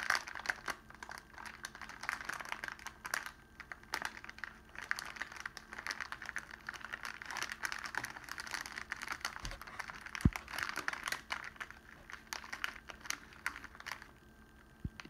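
Bare fingertips and palm hold and squeeze a thin, clear cellophane sleeve loosely wrapped around the stems of a single red rose with baby's breath. The result is a steady, dense crinkling and crackling that lasts the full fifteen seconds, mostly in the midrange, with a few sharper pops and snaps along the way.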